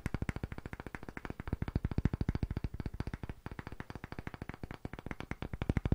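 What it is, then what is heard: Wooden disc block. Fingertips and short nails tap and scratch quickly on the face and rim of a solid, pale, palm-sized round wooden disc block with visible grain, held in both hands. About fifty short, dry, low-pitched knocks follow one another in a fast, uneven stream. Each one stops almost instantly with no ring.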